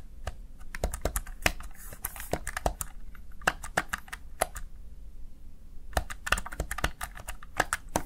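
Fingertips press and tap the keys of a small black plastic backlit Razer Tartarus Chroma gaming keypad. Quick bursts of short, dry plastic clicks with a bright edge sit over a faint low hum, with a brief lull in the middle before the tapping picks up again.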